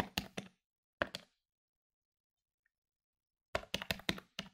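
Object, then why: Plastic desktop calculator keys. Fingertips tap the plastic keys of a medium-sized plastic electronic desktop calculator lying on a wooden table. About eleven short, dry, bright clicks come in quick bursts: a few near the start, then a long silent pause, then a fast run at the end. Each tap dies away almost instantly.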